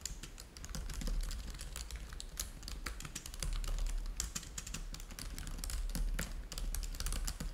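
Fingertips of both hands type rapidly on the plastic keys of a black laptop keyboard. The result is a fast, irregular stream of sharp, bright clicks over a steady low hum.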